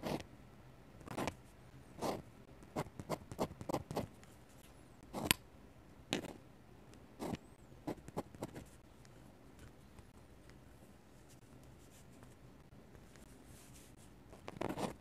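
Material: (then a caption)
Paper. A metal-nib dip pen, held in the fingers, is drawn and scratched across the white paper of an open sketchbook in short hatching strokes. About a dozen brief, dry, broadband scratches reaching high into a bright hiss come in quick bursts over the first nine seconds. A quiet stretch follows before a final louder scratch at the end.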